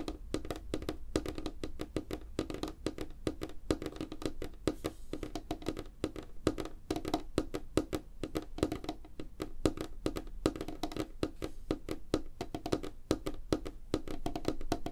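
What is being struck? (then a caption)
Wooden tabletop. Both hands tap fast on a solid, light wooden tabletop with fingertips and nails, making a rapid, continuous run of short, dull knocks. The taps are mostly low and woody, with a hollow tone around 310 Hz and very little high ring, and each one dies away almost instantly.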